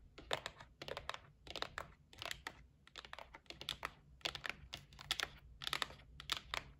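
Long nails tap rapidly on the top and edge of a white cardboard gift box resting on a table. The sound is quick clusters of short, dry, bright clicks with almost no ring, separated by brief pauses over a faint low background hum.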